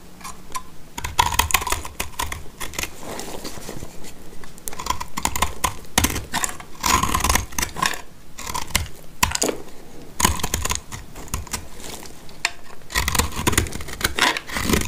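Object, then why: Soap bar. A black utility knife blade scrapes flakes from a solid, dry, greyish speckled soap bar held in the hand. Dense runs of crisp, dry scratching and clicking come in bursts, with a bright edge and some low thuds underneath. Each stroke stops short with almost no ring.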